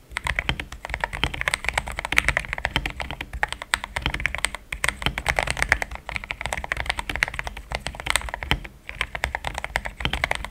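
Fingertips of both hands type rapidly on a compact cream mechanical keyboard with plastic XDA keycaps, resting on a starry deskmat. The result is a dense, steady stream of short, bright, clacky keystrokes that stop dead with no ring, over a faint low hum.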